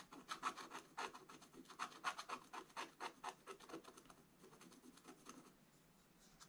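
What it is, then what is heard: Scratch-art paper being scratched. A wooden stylus scratches small areas of a black coated scratch-art paper page. Quick, dry rasping strokes follow one another in an uneven rhythm, each brief and bright with no ring. The scratching grows softer and sparser toward the end.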